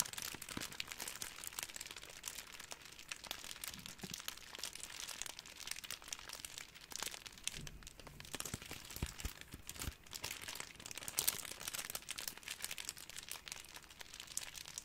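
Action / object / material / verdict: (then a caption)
scrape / thin plastic cling wrap / plastic film / none. A small ball of clear, thin, crumpled plastic cling wrap is squeezed and crinkled between the fingertips. It makes a steady, quiet stream of dense, bright crackling with sharp little snaps and almost no low end. The crackles stop instantly, with no ring.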